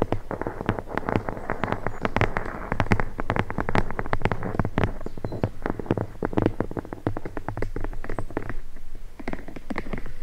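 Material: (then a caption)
Leather. Long blue nails tap and scratch along the spine of a red leather-bound book held spine up. Quick, dry clicks come in a dense, uneven stream over a soft scratching texture and a steady low hum, with each tap dying away almost instantly.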